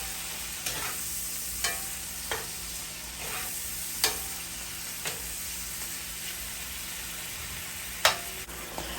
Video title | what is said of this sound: Whole Snapper Fish with Red pepper sauce | tap around on the fish with a butter knife so that you can hear just how crispy that skin is